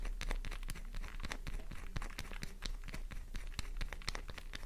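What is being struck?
Bar of soap.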